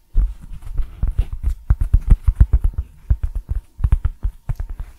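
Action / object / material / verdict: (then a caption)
tap / thin cork coaster / cork / none. A round, flat, thin cork coaster printed with "Nouvelle Cuisine" is held close and tapped and scratched with fingertips and short nails. The result is a rapid series of soft, dull, low thumps with very short decay, interspersed with faint scratchy texture.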